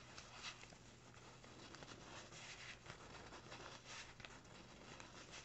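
A small, empty brown kraft paper bag lying flat is scratched and crinkled with fingertips and nails near its folded top. The result is a quiet, continuous, bright papery rustle with soft scratchy crackles over a faint steady low hum.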